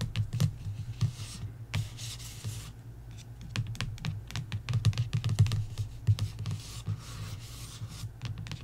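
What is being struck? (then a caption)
Glossy paperback book cover. Long nails tap and scratch the glossy paperback cover of a coloring book. Quick, bright, irregular clicks alternate with brief scratchy rubs over a steady low hum.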